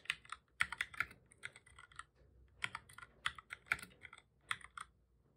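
Fingertips of both hands type on a black full-size plastic computer keyboard, making about twenty quick, bright, clicky key presses. The taps come in uneven bursts separated by brief pauses, each one short and dry with almost no low end.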